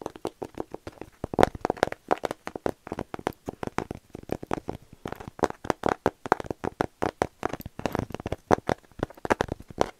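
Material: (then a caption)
Canvas. Fingernails scratch and tap the painted face of a small rigid canvas panel painted with cherry blossoms, held first in one hand and then in both hands. The result is a fast, uneven run of short, dry, papery taps and scratches centered in the midrange, with almost no ring after each hit.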